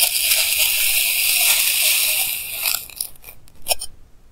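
A clear plastic knife held in hand slices solid pink kinetic sand blocks into thin layers, picked up close by a clip mic. A steady, bright, hissing scrape runs for nearly three seconds, then breaks into a few short, soft crunches that fade away.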